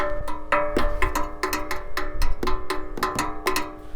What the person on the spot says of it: not only does it sound good when you tap it